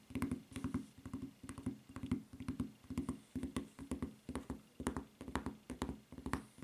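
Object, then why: Rubber flip-flop footbed. Long nails tap quickly on the footbed of a white rubber flip-flop with a red print and strap. The sound is a fast, uneven patter of dull, hollow clicks with a low thumping body and almost no ring, coming in short clustered bursts.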